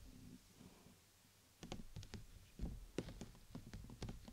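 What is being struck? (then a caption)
Thin PVC umbrella canopy. Long nails tap the thin plastic canopy near the top of a transparent PVC bubble umbrella, a clear plastic dome covering the mic. After a quiet, faint first second and a half, about ten short, dry, irregular taps follow. Each one is a soft, hollow click with a dull low thump and a brief bright edge.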